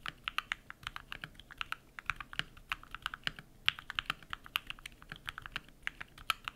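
Rapid typing with bare fingertips on a compact modded mechanical keyboard with white PBT plastic keycaps and lubed switches. It produces about 41 quick, bright clacks that are dry and clipped with almost no ring, and there is very little low end beneath the steady tapping.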